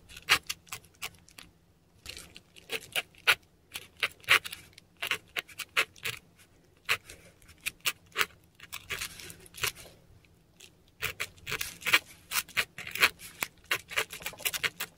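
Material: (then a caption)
Paper. A metal dip pen nib scratches strokes of Japanese text onto a flat, textured Korean paper sheet. Bursts of short, crisp, bright scratches come in quick runs, with brief quiet pauses between groups of strokes. The strokes have almost no low end and stop dead with no ring.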